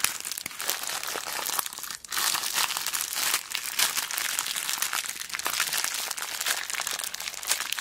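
Fingers with long black nails squeeze and work a small clear plastic zip bag full of beads. The result is a steady, dense, bright crinkling and crunching with many quick clicks of the shifting beads, briefly dipping near the two-second mark before carrying on.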